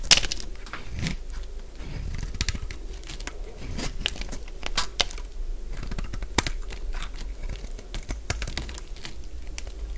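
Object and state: Dry bar soap.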